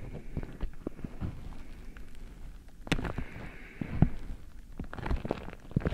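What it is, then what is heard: Beeswax-coated cotton food wrap. Fingers grip, rub and crinkle a single patterned beeswax-coated cotton food wrap held over the microphone. The waxy fabric gives off irregular, close-up crackles and soft pops over a low, muffled rustling bed, with a few sharper bursts standing out.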